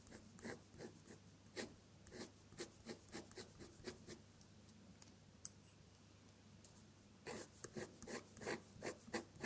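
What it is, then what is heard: Paper sheet under a dip pen. An ink-laden metal dip-pen nib scratches across a sheet of drawing paper, drawing red flower petals in colored ink. About 17 short, bright, scratchy strokes come in an uneven rhythm over a low steady hum, with a quieter pause in the middle before a denser burst of strokes at the end.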